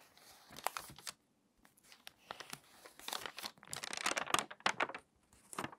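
Long-nailed fingers turn a page of an open, water-damaged glossy paper magazine and press along its spine. Dry, bright crinkles and crackles come in irregular bursts with short pauses between them. They grow denser and louder toward the middle before a few last rustles.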